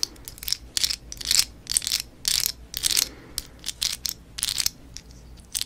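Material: Plastic.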